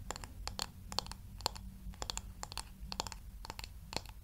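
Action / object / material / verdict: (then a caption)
tap / wooden paddle hair brush / wood / none. Long nails tap and scratch on the smooth, solid wooden back of a light wooden paddle hair brush held near the mic. Quick, dry, bright clicks with no ring come in an irregular, fast patter over a faint low rumble.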